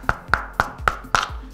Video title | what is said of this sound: Protect your lenses!! // Polar Pro Defender | the end is super hard, like knock on your knuckles hard, knock with a hammer hard. It's solid.